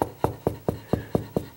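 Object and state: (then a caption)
Hollow drywall between studs. Eight evenly spaced knocks on a condo drywall wall, checking for studs without a stud finder, each a short, dull, low thump that dies away almost instantly. The spot sounds hollow, meaning there is no stud behind it.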